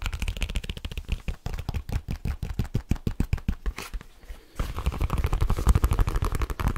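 A black leather case is flexed in the hands while fingertips and nails tap and scratch it quickly. Rapid, dry, low, thumping taps run for about four seconds, pause briefly, then give way to louder, denser scratching and tapping.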